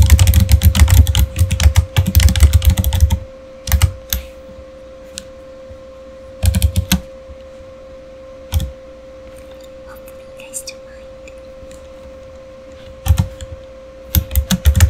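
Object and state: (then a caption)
Plastic computer keyboard. Fingertips type on a full-size, solid, backlit plastic Razer Fire gaming keyboard, producing dense, quick clacking keystrokes for the first three seconds. Shorter bursts of typing follow, separated by pauses, over a steady low hum.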